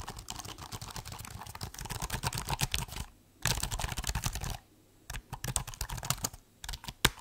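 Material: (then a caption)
Plastic. Fingertips type on the black plastic keys of a silver laptop held upright, making rapid, dry clicks with a soft low thump under each bright tap. The typing comes in quick bursts, with brief pauses just after the 3-second mark and again near 4.6 seconds before it resumes.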